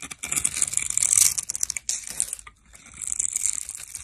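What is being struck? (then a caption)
Bar of dry soap scraped with a metal blade. A metal blade scrapes small cubes off a solid green bar of dry soap that has been scored into a grid and is held in the hand. Bright, crisp crunching and crumbly scraping come in dense bursts, pause briefly near the middle, then resume more softly.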